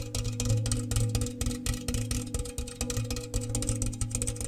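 A large, round, hollow, empty metal cookie tin with a bare metal interior is held in the hands and tapped rapidly with fingernails. The fast, irregular taps produce bright clicks over a low, ringing metallic hum near 110 Hz, and each short ring overlaps the next to form a continuous resonant drone.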